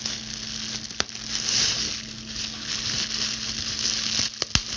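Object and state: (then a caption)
Plastic bubble wrap. Long pointed blue acrylic nails pinch a clear plastic bubble wrap sheet, and their tips pop its air bubbles. A steady, bright crinkling hiss runs throughout, broken by a few sharp, short pops. A faint low hum sits underneath.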